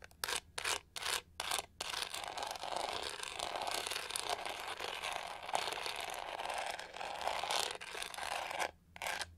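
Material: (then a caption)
Plastic. Long nails scratch the pink-gold, pyramid-textured back of a hollow plastic hair brush. A few short, separate scratches lead into a long, steady stretch of dry, bright, rasping scratching. After a brief pause, one last scratch follows.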